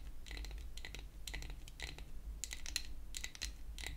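A pink-painted wooden toy hair dryer, a solid flat piece of wood held upright, is tapped with long acrylic nail tips. Quick bursts of light, bright clicking taps come in clusters over a steady low hum.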